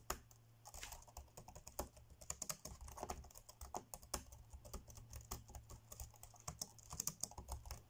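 Fingertips tap quickly across the dark grey plastic chiclet keys of an ASUS laptop keyboard, typing. The result is a fast, uneven stream of short, bright plastic clicks that die away almost instantly, over a steady low hum.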